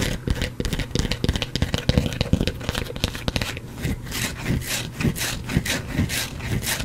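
A solid white bar of soap, partly carved, is scratched and scraped with fingernails, making dense, gritty rubbing and scraping over low, dull thumps. Bright crackling strokes come in quick repeated bursts, growing more rhythmic toward the end, and crumbs fall onto the cloth.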